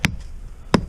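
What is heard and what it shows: Two sharp, solid thumps on the upper trunk of a standing dead hickory snag, each a short knock with a low body around 190 Hz that dies away almost instantly. The wood high on the snag sounds hard and sound, in contrast to the punky base.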